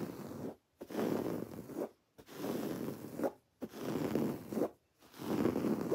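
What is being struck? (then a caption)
Woven fabric pillow. Long dark-painted nails and fingertips scratch a soft, stuffed, plain white textured woven fabric pillow held upright. The scratching comes in five separate bursts of dry, rough, zipper-like friction with short silent gaps between them. The sound is mostly low-mid with little high-end brightness.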